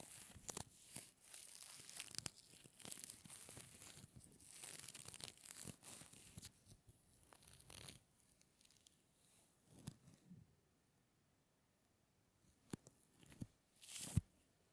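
A small, light red feather, likely dyed, is held close and its vanes are rubbed and stroked between fingertips with short nails, making soft, bright crinkling and tearing-like rustles. The rustling is dense and continuous for the first several seconds, then thins into scattered short crinkles separated by near-silent pauses, ending with a few sharper bursts.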